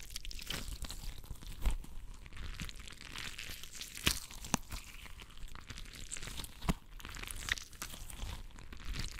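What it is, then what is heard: Bead-filled rubber stress ball being squeezed. A palm-sized, translucent rubber stress ball filled with water beads is gripped and squeezed in one fist. It makes continuous wet, sticky crunching and crinkling sounds with a deep low rumble, broken by sharp pops and snaps. The sound is dense and textured and never turns into a steady tone.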